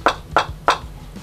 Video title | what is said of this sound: Review #14 : Ares Amoeba Striker (English sub) | sonne pas creux déjà ça c'est c'est super bien ça fait pas de TOC c'est pas une réplique chip